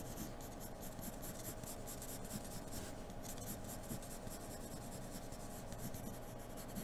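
A hand draws strokes with the graphite tip of a wooden pencil with a blue end across a large flat sheet of white drawing paper bearing a graphite fairy portrait, lying on a dark surface. The result is a steady, quiet, continuous scratching and rubbing of graphite on paper, with brighter raspy swishes as the strokes come and go.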